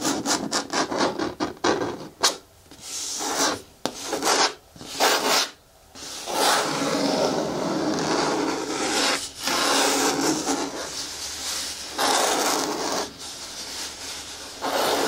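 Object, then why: Hard plastic bin with lid. Long nails and fingertips scratch and rub the side wall of a hollow, hard green plastic bin with a lid and handle. Short, bright scratching strokes come in quick bursts at first, then settle into a steady, rasping rub with little low end.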